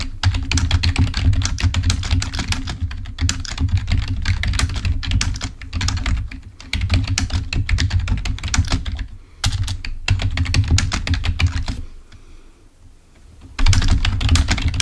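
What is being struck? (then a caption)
Plastic membrane computer keyboard. Rapid fingertip typing with both hands on a full-size, wired black plastic Microsoft membrane keyboard lying on a white table produces dense streams of short, bright key clicks. A steady low hum runs beneath the clicks. The typing pauses briefly and goes quiet just before the final seconds, then resumes at full pace.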